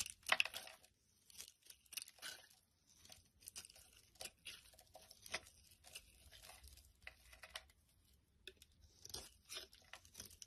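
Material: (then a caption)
Glycerin soap. A black utility blade shaves curls off the surface of a palm-sized, solid, translucent amber glycerin soap bar held in the hand. Each stroke makes a quiet, crisp, tearing scrape, bright and high with almost no low end. The strokes come in a steady series of short bursts with brief pauses between them.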